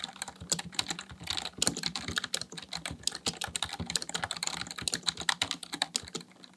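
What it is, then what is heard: Plastic computer keyboard. Fast, continuous typing on a black plastic full-size Dell KB1421 membrane keyboard resting on a desk, with both hands pressing the keys with their fingertips. The key presses make dense, short, bright clicks and clacks with almost no ring and little low-end weight, running steadily through the whole clip.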